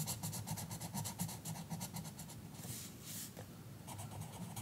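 An orange colored pencil scratches and rubs across a page of an open paper coloring book lying flat on a counter, with the other hand resting flat on the book. Quick, fairly steady coloring strokes make a bright, raspy scratching, giving way midway to a couple of longer, smoother hissing rubs before the short strokes resume.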